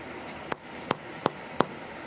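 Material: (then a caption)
Bread. The bottom of a baked honey wheat loaf is thumped four times, each thump a short, dull, hollow knock with almost no ring. The hollow sound shows the bread is done.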